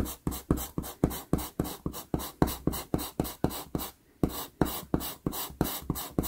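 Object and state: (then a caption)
Pastel pencil scratching on pastel paper. A wood-cased pastel pencil held in the fingers is stroked across a small 4.5-inch sheet of sienna Pastelmat paper taped to a board while drawing a cat eye. About two dozen quick, dry scratching strokes come in a steady rhythm, with a brief pause around the four-second mark. Each stroke is short and papery with a soft low thud and a grainy, bright hiss.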